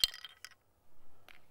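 An inertia bullet puller holding a loaded cartridge is tapped on a table, and sharp, bright metallic clinks and rattles sound as the loose bullet moves inside the puller. The rattling means the bullet has separated from the case.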